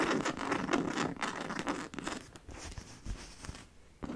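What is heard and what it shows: Long nails scratch and tap the fabric front of a hollow black logo-fabric handbag with faux-leather straps and silver buckles. Quick, uneven rustling scratches mix with soft, muffled taps that ring out almost instantly, growing quieter toward the end before a final louder scratch.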